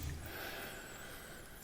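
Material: Nothing is struck.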